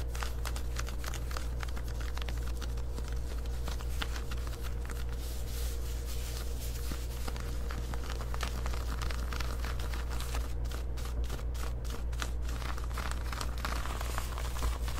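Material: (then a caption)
Denim. Long white acrylic nails scratch along the leg hem and side of worn black denim jean shorts made of soft fabric. Irregular, crisp rasping strokes ride over a steady low hum, with denser bursts of scratching near the end.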